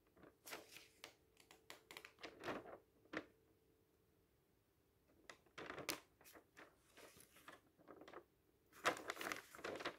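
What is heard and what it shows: Fingertips slowly lift and turn a thin page of an open paper magazine, making soft, bright paper rustles and crinkles in short bursts. The bursts are separated by quiet pauses, with a faint steady hum underneath.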